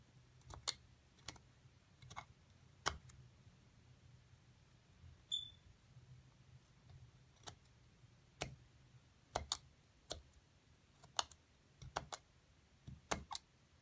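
A thin metal seafood pick scrapes and chips at a solid plaster excavation block inside its dug-out cavity, breaking off small chunks. About fifteen sharp, bright clicks and ticks are scattered across quiet pauses, each dying away almost instantly, over a faint low hum.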